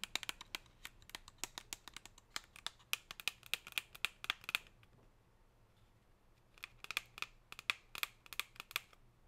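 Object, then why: Thin plastic chocolate tray tapped with fingernails. Long pink nails scratch and tap along the chevron ridges of a thin, clear, silvery plastic chocolate tray. The result is a quick run of about 40 sharp, bright, crinkly clicks with almost no ring. The clicks pause for roughly two seconds in the middle, then resume.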